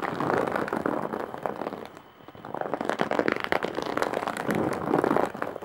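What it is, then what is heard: Woven straw bag. Long nails scratch and tap along the top edge of a large, coarse-woven straw and jute bag. Dense, dry crackling and crinkling rises and falls in waves through the mids, with a brief lull near the middle.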